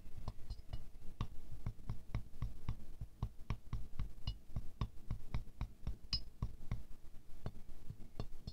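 A wooden stick taps fast between the inner petals of a small silver-glazed ceramic rose ornament. It makes a quick, steady run of short, dry clinks, mostly low and thumpy with brief bright glints on some strikes. Each tap dies almost at once.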